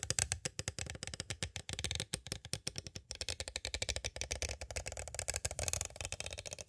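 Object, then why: Clear plastic cassette tape case. Two green plastic stick tools tap quickly on the edges of a small, hollow, clear plastic cassette tape case. The result is a rapid, steady run of short, dry, clicky taps with a bright top and a light hollow knock underneath. Each tap dies away almost instantly.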